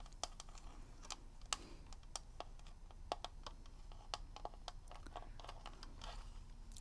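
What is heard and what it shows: Long red nails tap on the plastic shell of a hand-sized, hollow plastic Zelda NES game cartridge with a paper label, held upright in both hands. The result is a quick, irregular run of short, sharp clicks with a bright plastic tick, over a steady low background hum.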